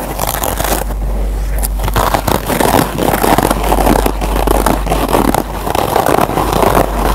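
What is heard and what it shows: Fingertips scratch the surface of a single Scotch-Brite kitchen sponge, a green nylon scour pad on yellow foam. A dense, continuous scratchy crackle with a rough, rasping texture holds a steady level throughout, over a constant low hum.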